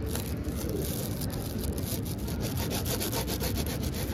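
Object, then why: Foam board wrapped in plastic film. Long acrylic nails and fingertips scratch and rub across the crinkly clear plastic film wrapped over a large, solid blue foam board or mat. The result is a steady, dense rustling scratch with a heavy low rumble underneath and quick bright crinkles flicking through the top.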